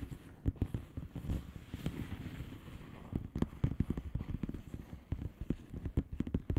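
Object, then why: Plastic bubble wrap envelope. Long painted nails on both hands rapidly tap and scratch a flat blue plastic bubble wrap envelope with air-filled bubbles. The result is a quiet, dense patter of short, dull taps and scratchy crackles, mostly low in tone with very little bright content. The taps come in uneven bursts that grow busier toward the end.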